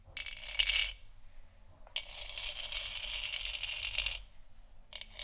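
Long nails tap and scratch across a large hollow, textured plastic moon lamp sphere. Three bursts of dense, bright clicking with a hollow plastic tone around 2.9 kHz: a short one, a longer steady run, then a brief start at the end. Quiet pauses separate them.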